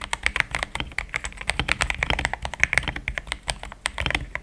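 Fingertips of both hands type fast on a compact pink-white mechanical keyboard with thick plastic XDA keycaps, a polycarbonate plate and linear switches, resting on a desk mat. Around 30 quick, short clacks pile up in a steady, uneven patter, each snapping off almost at once with a bright, high-leaning tone centered near 2 kHz over a soft low thud.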